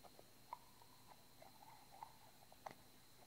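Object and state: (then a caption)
Small plastic bottle. A small hollow white plastic bottle with a translucent cap is held in the hands and tapped and scratched with short manicured nails. Three light, sharp taps ring briefly around 1 kHz, spread between quiet scratching and faint patter over a low, steady hum.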